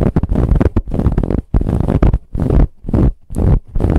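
Long nails scratch a soft brown ribbed fabric pillow in quick, uneven bursts of rough, muffled scraping. The sound is deep and full, with short pauses between strokes and little bright texture.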